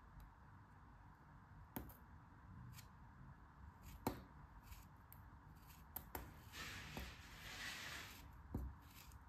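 A metal craft knife shaves slices off a solid, rounded yellow kinetic sand block held in the hands. Six soft, crisp cuts stand out against a low, grainy crumbling hiss. A brighter, sustained scraping swells near the end.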